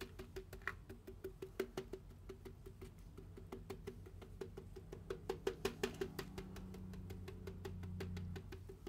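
A large styrofoam drink cup is turned over and its side and flat bottom are tapped with fingertips and nails. The result is a quick, uneven run of short, dry, hollow knocks with a woody tone near 380 Hz and bright clicky edges. A low steady hum underneath grows louder toward the end.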